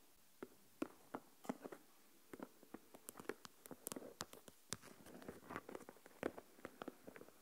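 Long nails tap the lid of a small translucent plastic deli tub with a lid, full of coarse salt, and scratch along the lid rim and sides. It gives a quiet, irregular run of short, dry clicks and taps with bright tips and no ring, mixed with soft scraping between them.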